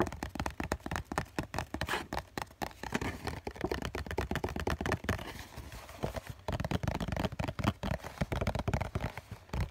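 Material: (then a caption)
Cardboard. Fingertips tap rapidly on the top and side of a hollow COCON cardboard tissue box, then on its bottom face, producing dense runs of dull, hollow, low thumps that die away almost instantly. Around the middle the taps grow softer and more papery before turning into louder, deeper knocks on the bottom.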